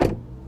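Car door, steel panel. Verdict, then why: Solid. A 2023 Toyota Prius Prime door is shut, making a single low, solid thud. The thud fades quickly into a faint low hum, and the door sound is judged solid.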